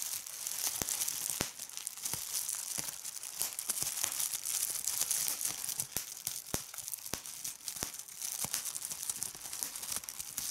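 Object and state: Plastic bubble wrap.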